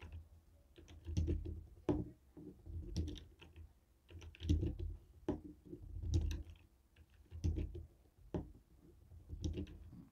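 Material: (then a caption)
Plastic. A jade stone face roller taps on a white and black hollow plastic TV remote. Quiet, irregular bursts of light clicking taps, each with a dull low knock and a bright tick that dies away almost at once.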